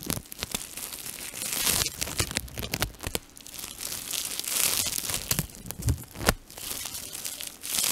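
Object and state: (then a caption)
Crinkled plastic foil sheet. A thin, transparent, flexible plastic foil sheet is held in both hands while fingertips and short nails crumple, pinch and twist it. The result is a dense, bright crinkling with rustling swells and a few sharper crackling snaps.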